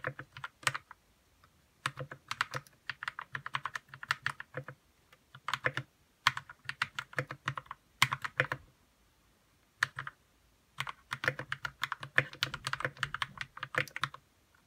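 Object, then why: Plastic mechanical keyboard. Fingertips type on a white RK61 60% mechanical keyboard with plastic keycaps, lubed red switches and a hollow plastic case. Quick runs of short, dry clacks come in bursts separated by brief pauses. Each keystroke pairs a bright click with a faint low thud and dies away almost instantly.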